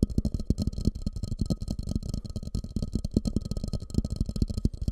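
A medium, fluted, glossy orange ceramic bowl, hollow and empty and turned upside down over a microphone, is tapped and scratched with fingertips. The sound is a fast, dense series of deep, muffled thumps with a low hollow resonance, mixed with soft scratchy texture and a faint steady tone. Each tap dies away almost at once.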